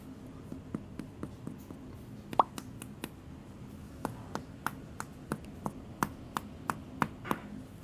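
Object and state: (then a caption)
Sourdough loaf, hollow and baked through. Knuckles knock repeatedly on the bottom of a freshly baked, still-hot sourdough loaf, giving 18 short, dry, hollow taps with a woody mid-pitched tone and almost no ring. The hollow sound shows the bread inside is cooked and set, and it sounds good.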